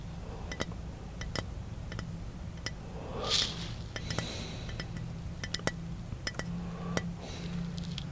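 A round-bodied glass bottle is held in the hand while fingertips tap its side and shoulder. The result is a scattered series of short, bright clinks with a ringing tone near 2 kHz that dies away almost at once. Between the taps there is a soft brushing sound over a steady low hum.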